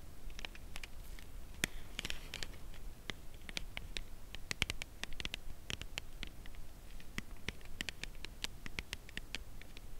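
Long nails tap the edge of a cardboard chocolate bar box held edge-on and tilted. The result is a steady scatter of quick, dry, bright clicks that die away instantly, over a faint low rumble.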